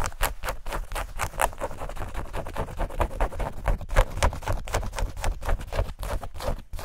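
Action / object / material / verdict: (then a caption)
scrape / denim shorts / denim / none. Long nails scratch rapidly over the fabric and pocket area of light-blue denim shorts. The result is a fast, uneven series of short, dry scratching strokes, about four per second, with a heavy low rumble beneath a thin, bright rasp.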